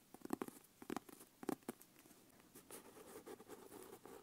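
Long nails tap on the cover of a closed brown leather notebook with an elastic strap across it, making quick, soft, dry clicks in small bursts. They then scratch the leather cover and strap, producing a steady, quiet, low-mid rustle with almost no ring.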